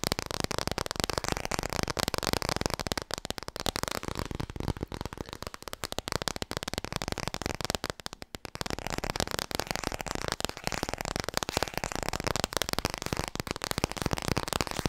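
Long red-painted nails rapidly tap a small, solid children's board book, "Klaar voor bed," made of thick laminated cardboard and held up in both hands. The tapping produces a dense stream of short, dry clicks across a broad, bright range. The tapping briefly softens around the middle before resuming at full pace.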